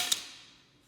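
A metal credit card made with a lot of plastic is dropped once, giving a single short, bright click with little low end that fades quickly. It sounds dull, more like wood or plastic than metal.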